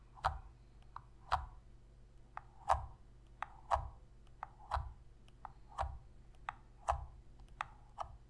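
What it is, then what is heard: Plastic game controller tapped with fingernails. Long red fingernails tap and press the face buttons of a hollow black plastic Sony PS3 controller held in both hands. Fifteen short, dry plastic clicks come at an uneven pace, alternating louder taps that carry a low thump with lighter, brighter ticks. Each click dies away almost at once.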